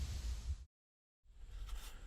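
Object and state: Nothing is struck.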